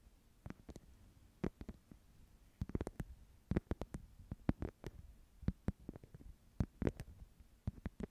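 Long nails tap and scratch the woven surface of a small, flat wicker/rattan clutch pouch held in both hands. The result is a quiet, irregular series of sharp, dry clicks that die away instantly, each a bright crisp snap with a bit of low body, over a soft low background.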